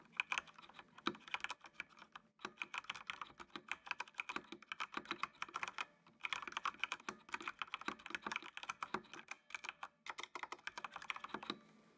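Fingertips type on the keys of a full-size black plastic mechanical computer keyboard with RGB backlight. Quick, bright clacks come in rapid bursts, broken by short pauses near 2.4, 6 and 10 seconds. Each keystroke is crisp and dies away almost instantly.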